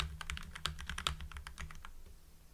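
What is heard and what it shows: Fingertips type on a full-size mechanical keyboard with lubed Gateron Yellow linear switches, white PBT cherry-profile keycaps and blue backlight. A rapid run of bright, poppy keystrokes plays over a steady low hum. The hands withdraw and the clicks thin out, leaving only the hum at the end.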